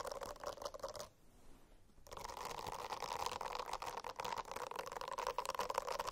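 Fingernails scratch a silicone-covered notebook, making a dense, rasping scratch with a steady mid-pitched tone and rapid, crackly strokes. It goes quiet for about a second, then resumes and continues to the end.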